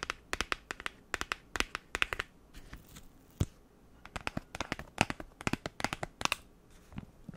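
Long nails tap and scratch a rectangular pink printed cardboard lip-product set box with a clear plastic window, held in both hands with the products inside. Dozens of quick, sharp, bright clicks come in irregular bursts, with softer scratchy rasps in the pauses between them. Each tap dies away almost at once, leaving a dry, crisp, close sound.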